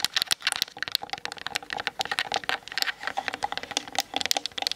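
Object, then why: Plastic camera body tapped with fingernails. Long nails tap fast on the hollow plastic body of a Canon DSLR camera mounted on a tripod. The result is a rapid, uneven stream of dry, bright clicks with almost no low end, each tap dying out instantly.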